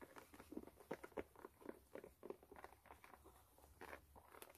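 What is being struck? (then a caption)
Rubber sole of a canvas sneaker. Long nails scratch the patterned brown rubber sole of a white canvas low-top sneaker, turned over, hollow and empty. The result is a quiet, irregular patter of short, dry midrange scrapes that stop almost instantly, with a few louder strokes standing out.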